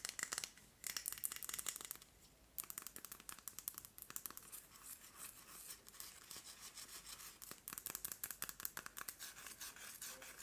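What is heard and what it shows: Long nails tap and scratch a Yankee Candle glass jar filled with solid red wax and wrapped in a paper label. The result is a quiet, dense stream of crisp, bright clicks and scratchy rasps with almost no low end, broken by a brief pause near the two-second mark before the tapping resumes steadily.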